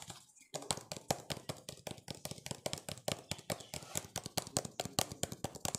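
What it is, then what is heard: Plastic jar tapped and scratched. Fingertips and nails rapidly tap and scratch a hollow, apparently empty cylindrical plastic jar, clear and white with blue bands and a lid. The result is a quick, irregular stream of dry, bright clicks with very short decay and a light hollow body underneath, after a brief quiet start.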